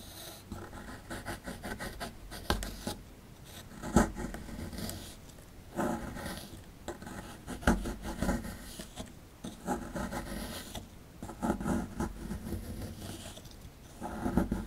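A metal pick scrapes and chips at the right end of a rectangular, solid plaster fossil dig block with a dinosaur relief, held in the hand, as powder falls away. Steady dry rasping and scratching is broken by occasional sharper clicks as bits chip off, with most of the sound low to mid in pitch.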